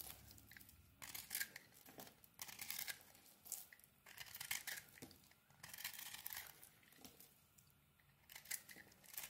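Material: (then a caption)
Soap. A small metal blade scrapes the crumbly white surface of a dry, solid pink and white bar of soap held in the hand. Bright, crisp scraping strokes come in repeated bursts with fine crunchy crackle. Quieter gaps sit between them, and there is almost no low end.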